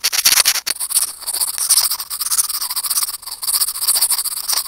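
A small hollow white plastic earphone mic remote is rubbed and scratched with curved steel tweezers. The result is a dense, bright, scratchy rasping with quick clicks, with almost no low end and short pauses near 0.6 and 3.2 seconds.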